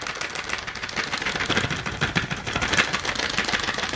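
A full pack of AA alkaline batteries with a clear plastic blister front over the batteries is held in both hands and tapped and scratched with long nails. The result is a fast, uneven stream of bright, crisp plastic clicks and scratchy rustles, with a high tonal ring near 1.8 kHz and little low end.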